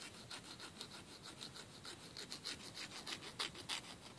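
A thin, flat, solid emery board nail file, held between fingers, is rubbed back and forth across the edge of a fingernail. About a dozen quick, bright, hissy scraping strokes follow at a steady filing rhythm, with the last couple of strokes louder.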